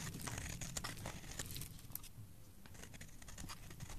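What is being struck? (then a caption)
Bar of soap scraped with a metal blade. A solid, bright green oval bar of soap with an embossed logo is held in the hand and carved and scraped with a metal blade, sending shavings falling off. The sound is a steady run of crisp, dry scraping and crackling, with bright, brittle bursts over a soft low rumble. It eases slightly in the middle before picking up again.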